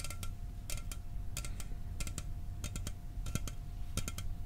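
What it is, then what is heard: Aluminum soda can tapped. A sealed, hollow 12 oz Mountain Dew aluminum soda can is held in one hand and tapped with fingernails and fingertips. The taps come as quick, bright, dry clicks in small clusters, dying away almost instantly, over a steady low rumble and a faint constant hum.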